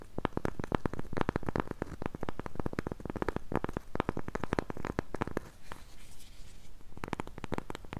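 Long pink nails scratch and tap the face and rim of a solid, round, flat cork coaster held in both hands. Rapid, dull, close-up taps and scratches run almost continuously, mostly low in tone. Around the sixth second they soften into a brief, quieter, brighter scratching before the tapping picks up again.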